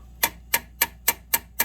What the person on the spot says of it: You hear that dull sound? This pipe is loaded with that sewer or whatever.